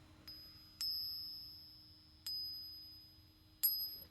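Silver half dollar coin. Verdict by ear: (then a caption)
Real. A 90% silver half dollar, already passed on a Sigma electronic tester, is struck or flicked four times to let it ring. Each tap is a bright, high-pitched ping with a clear, sustained tone that fades slowly, giving the coin the pleasant ring expected of silver.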